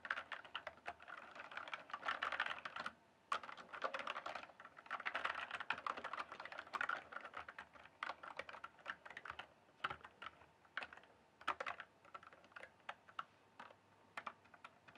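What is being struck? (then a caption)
Plastic mechanical computer keyboard. A full-size RGB-backlit plastic mechanical computer keyboard, hollow keys on a solid base, is typed and tapped with fingertips. Dense bursts of quick, clicky keystrokes with a midrange clack and short ring run in flurries, pausing briefly near the three-second mark. The typing then thins into sparser, separated taps toward the end.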